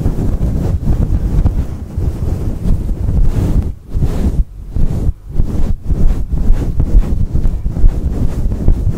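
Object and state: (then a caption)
Fur microphone windscreen being scratched. Fingertips of both hands scrunch, scratch and rub a fluffy faux fur windscreen on a microphone. The result is a dense, muffled, bass-heavy rumble with almost nothing bright in it, briefly dipping quieter a few times as the rubbing pauses.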